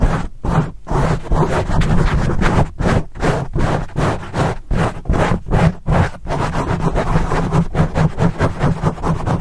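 Fingertips rapidly scratch and rub a black foam microphone windscreen, producing fast, uneven bursts of dense, rough, low-heavy scraping. The sound is a close, muffled rumble with little high content, pulsing steadily without clear gaps.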